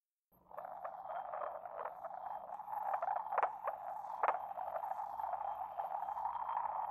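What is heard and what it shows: A porcelain pestle scrapes the base of an inverted, hollow white decorated porcelain mortar, making a continuous gritty, rasping scrape centered in the mid range. Brief brighter scratches stand out near the middle of the clip.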